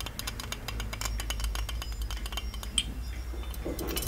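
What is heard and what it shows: Fingers rapidly tap and scratch the embossed surface of a small, ornate, hollow gold-plated metal genie lamp, making a dense run of quick, bright metallic clicks and clinks. The taps die away almost instantly, with one sharper ring near 3.2 kHz about two-thirds of the way through. A steady low hum sits underneath throughout.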